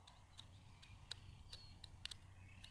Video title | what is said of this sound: 14-minute Guided Meditation: GROUNDING PRACTICE with pine branch & cone by REAL LAKE & birds call | I can rub it and it makes different sounds